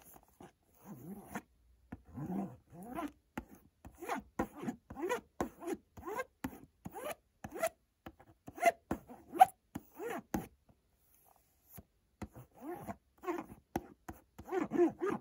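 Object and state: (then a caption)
Cardboard box. A fingertip rubs and scratches along the printed front face of a white cardboard Montblanc perfume box. The result is a quiet series of short, dry, zipper-like scrapes with pauses between strokes.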